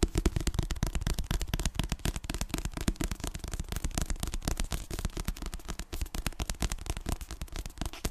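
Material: Paper.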